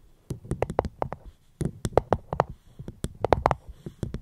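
Fingertips tap on a fruit box held close to the microphone, giving quick, dry, irregular taps in three short bursts with brief pauses between them. The taps are soft and muted, with a hollow, midrange knock around 480 Hz and a faint bright click at the start of each tap.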